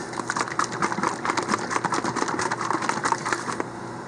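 A FloraNova nutrient bottle with a weighted agitator of about half an ounce inside is shaken, and the agitator clinks rapidly and steadily against the bottle for about three and a half seconds with short, sharp, bright hits centered near 900 Hz. The weighted agitator strikes the bottom of the bottle to stir up and mix the thick, settled nutrient, working as intended.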